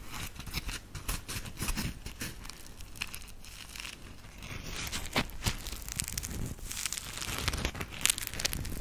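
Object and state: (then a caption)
Dry polymer foam sponge, squeezed and scratched. A dry, round grey polymer foam smiley sponge (Scrub Daddy) is squeezed and scratched with long acrylic nails. The result is a dense run of crinkly, crackling scratches and squeaky rasps with bright high hiss over a soft low rumble. The bursts are short and dry with no ringing, and they grow slightly louder toward the end.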